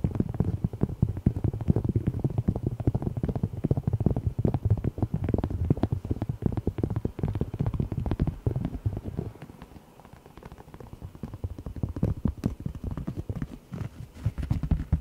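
Fingernails tap and scratch the surface of a thin, solid, heart-shaped cork coaster held up in both hands. Dense, rapid, dull taps and soft scratches sit mostly in the low range, with a quieter stretch around ten seconds before the tapping builds again.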